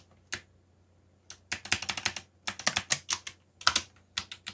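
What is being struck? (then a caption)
Plastic mechanical keyboard. Fast fingertip typing on a backlit plastic mechanical keyboard with black plastic keycaps gives about twenty sharp, bright clacks. They come in quick bursts separated by short pauses, and each keystroke dies away almost at once.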